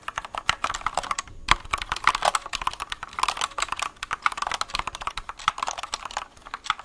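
A compact white mechanical keyboard with a plastic case and plastic keycaps, held up close to the mic, is typed on and tapped with fingertips. The result is a rapid, uneven run of sharp, bright clicks centered around 1.1 kHz, each dying away almost instantly, with very little low end.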